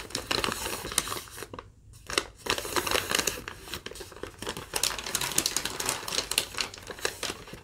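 A thin, wrinkled sheet of yellow lined legal-pad paper is held in both hands and crumpled, crinkled and folded with long nails and fingertips. The result is dense, bright, crackly rustling with many sharp little snaps, broken by a brief near-silent pause just before the two-second mark.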